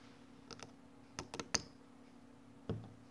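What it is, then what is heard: Kinetic sand cylinder being cut. A solid small cylinder of orange kinetic sand is sliced horizontally by metal scissors blades, with the slices falling off. Several short, crisp clicks and soft snips are heard at irregular intervals over a quiet background. The bright, dry cuts stop almost instantly, and the last one is followed by a duller, lower thud.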